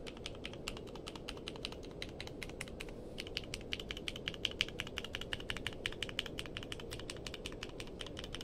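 A compact mechanical keyboard with a purple case and white and dark plastic keycaps rests on a blanket while fingertips press and tap its keys in steady typing. A fast, slightly uneven run of short, bright clicks rings around 3 kHz over a soft low hush, growing a little louder and more pronounced midway through.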